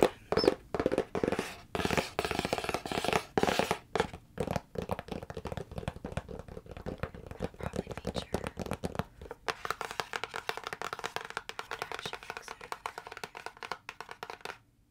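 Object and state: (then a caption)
Cardboard product box. A hollow printed cardboard retail box is held up and tapped and scratched with long nails and fingertips. It starts with separate rasping strokes and hollow taps, then shifts into a fast, steady run of light crisp clicks and scratches. A brief pause comes just before the end.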